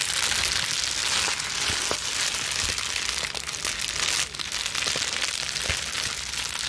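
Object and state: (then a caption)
Plastic bubble wrap. A crumpled sheet of clear plastic bubble wrap is twisted and scrunched between the hands and scratched with long nails. It makes a steady, bright crinkling hiss with scattered sharp pops and clicks throughout.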